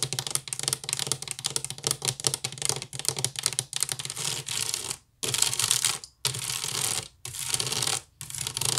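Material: Wicker.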